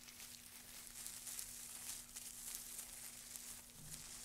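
Two gloved hands rub, scratch and crush a loose pile of dry wood shavings, making a quiet, steady bright crinkling rustle. Faint crunchy bursts rise and fall through the texture, with a thin low hum underneath.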